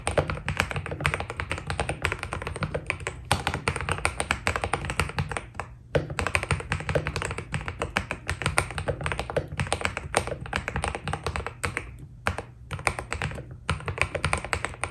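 Fingertips of both hands type steadily on a white Keydous NJ80 mechanical keyboard with PBT plastic keycaps, a steel plate and foam inside. The result is a dense stream of short, crisp clacks and thocky taps with bright edges, over a steady low rumble. The typing pauses briefly around 6, 12 and 13.5 seconds.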